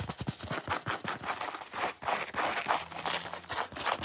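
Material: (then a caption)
Foam. Long fingernails quickly scratch a solid, watermelon-shaped foam sponge, working along the foam rind edge and across the red face. The result is a continuous run of dry, rapid scratching bursts with a rasping midrange and bright hiss, with a faint low hum underneath.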